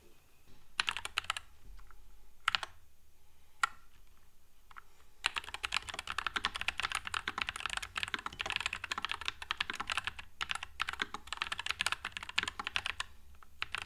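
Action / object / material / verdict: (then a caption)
tap / low-profile mechanical keyboard, plastic keycaps / plastic / none. A NuPhy Air96 low-profile mechanical keyboard with Wisteria switches, a white frame and plastic keycaps sits on a desk mat and is typed on with the fingertips of both hands. A few scattered, separate keystrokes give way after about five seconds to fast, continuous typing. The clicks are short, bright and crisp, with almost no ring after each press.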